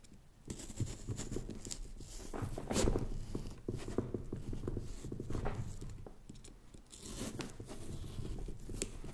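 A small carving knife incises and scratches the rind of a fresh, whole, large orange pumpkin that is hollow inside with its lid not yet cut, while one hand holds it steady. The result is a continuous run of dull, low, crunchy scraping and tearing with short scratchy strokes and a few louder bright rasps.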